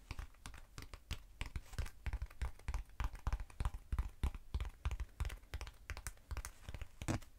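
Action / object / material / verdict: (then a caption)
tap / foam cylinder / foam / none. Long acrylic nails tap and scratch a short black textured foam cylinder held in the hand. The result is a quiet, irregular stream of rapid, dull, low taps mixed with brief scratchy rasps, each stopping almost instantly with no ring.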